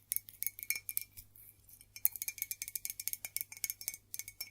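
An old Staffordshire ceramic mug made in England, given by a co-worker, is tapped and scratched with a quick run of about 27 light, bright clicks. The clicks are sharp and high-pitched with almost no ring, and a brief softer stretch of scratching comes before the tapping resumes.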